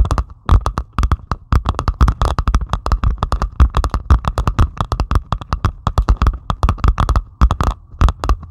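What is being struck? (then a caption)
Diamond painting canvas covered in plastic resin drills. Long pointed acrylic nails on both hands scratch across a flat, solid diamond painting canvas lying flat and covered in tiny plastic resin drills. The result is a dense, rapid run of sharp, dry clicks and scrapes that die away almost instantly, with a steady band near 1 kHz and a soft low thump under each stroke.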